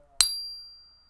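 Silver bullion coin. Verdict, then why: Real. A larger silver Maple Leaf bullion coin, held at the middle, is tapped once and rings with a clear, high, sustained tone that fades over about a second. The ring is the normal sound of a real silver Maple Leaf coin.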